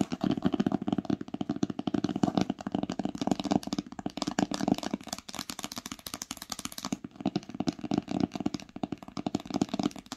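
Long pink acrylic nails tap rapidly on the top cover of an old green cloth-bound hardcover book with a solid paper block, lying flat on a blanket with its spine facing forward. The result is a steady, continuous patter of short, dull, muffled taps centered low around 200 Hz, with light clicky edges from the nails and almost no ring after each hit.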